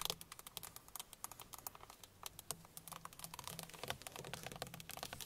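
Long fingernails of both hands tap rapidly on the hollow plastic airbag cover at the center of a car steering wheel. About 37 quick, sharp, bright clicks come in an uneven patter, each dying away almost instantly. The sound stays light and quiet with little low end.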